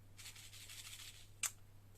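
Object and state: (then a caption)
Shaker card with stuck filling. A cloud-shaped scrapbooking shaker card, with an acetate window filled with loose elements, is shaken, giving a soft, airy, high-pitched rustle for about a second, followed by one sharp click near the end over a steady low hum. The contents barely move because the glue was reapplied too quickly and the pieces are sticking.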